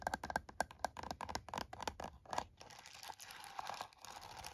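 A plastic TI-34 scientific calculator lying on a towel has its keys tapped and pressed with fingertips and nails. A rapid run of short, dry clicks and taps with a mid-range tone and bright edges comes first. It then gives way to softer, scratchy tapping and rustling toward the end.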